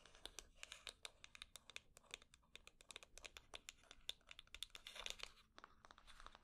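A small hollow wooden box with a small metal plate, held in the hands, is scratched and tapped quickly with long painted nails along its sides and top. A rapid, quiet stream of sharp, bright clicks and dry scratches follows, each tap dying away almost instantly with little low end.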